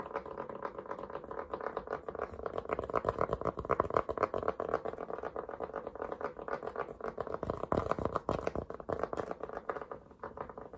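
Fingertips and nails scratch and tap quickly on the brim of a black cotton Polo cap worn on the head. The result is a fast, uneven patter of dry, muffled taps blended with scratchy rustling, concentrated in the midrange with no ring. It runs steadily for about 11 seconds and eases off slightly near the end.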